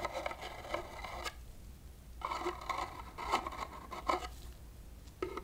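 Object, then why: Small cardboard box scraped by a metal wire whisk. The wire loops of a small metal whisk rub and scrape the inside bottom and walls of a small, open, hollow, empty red cardboard box, which has a textured outside and a smooth inside and is held in a gloved hand. The result is bursts of scratchy, hollow-sounding rasping centered around 1 kHz with bright edges, separated by short quiet gaps. A low steady hum runs underneath.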